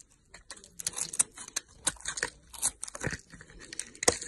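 A blade cuts and scrapes the glitter coating off a rectangular solid red soap bar with an embossed logo, held in a hand with long nails. A quick series of short, crisp scraping and crunching strokes is heard, bright and hissy with little low end, each one dying away almost at once.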